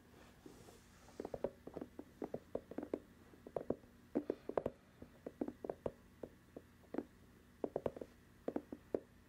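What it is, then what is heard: Rubber sneaker sole tapped with fingernails. Long acrylic nails tap and scratch the white rubber sole of an empty, hollow sneaker held up close to the microphone. A few dozen soft, dull taps land in uneven clusters, each dying away almost instantly, with a mid-pitched hollow knock. Faint scratching and a low, steady hum fill the background.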